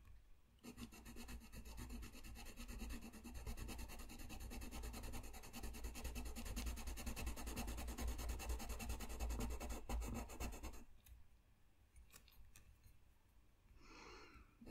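A blue colored pencil rubs and scratches across a flat white paper sheet lying on a desk while coloring. It makes a dense, steady scratchy rasp with a heavy low thump underneath from about 1 to 11 seconds. Then the sound drops to quieter, sparse scratches.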